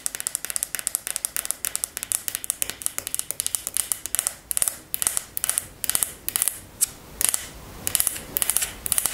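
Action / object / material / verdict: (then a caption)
scrape / wooden paddle hairbrush with wooden pins / wood / none. Long nails scratch and flick across the wooden pin bristles of a wooden paddle hairbrush. The result is a rapid run of sharp, bright clicks and crackly scrapes, with short flurries that pause and resume. Each flick is very short with almost no ring, and there is little low-end.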